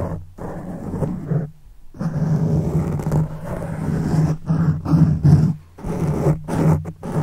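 Fingertips and the thumb of one hand scratch and rub a black foam windscreen on a silver microphone. It makes dense, low, rumbling scratches with a steady low drone, broken by brief pauses as the fingers lift and start again.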